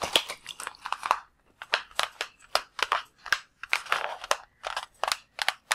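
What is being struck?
Latex water balloon.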